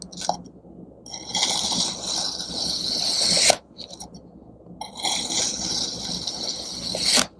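A serrated metal knife slices through a solid block of pink kinetic sand shaped like a mooncake, and thin slices fall away. Two long strokes each give a grainy, bright, hissing scrape that builds and then cuts off sharply, each one preceded by light gritty ticks.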